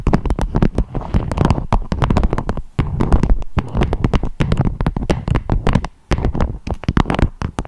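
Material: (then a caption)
Beeswax fabric. A beeswax-coated fabric food wrap with a strawberry print, shaped into a dome, is tapped and scratched with long acrylic nails. The result is a fast, dense run of short, dry, crinkly taps with a deep, hollow thump underneath and brief bright clicks on top. A couple of short pauses break up the tapping.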